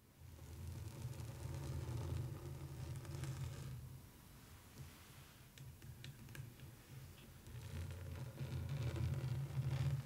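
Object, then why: Canvas print in a wooden frame. Long light-blue almond-shaped nails tap and scratch across a flat rectangular printed canvas of a street scene with an orange wooden frame, lying on burlap. The sound is a dull, low, rustling scrape with scattered soft taps. It quiets for a few seconds in the middle, then builds back louder toward the end.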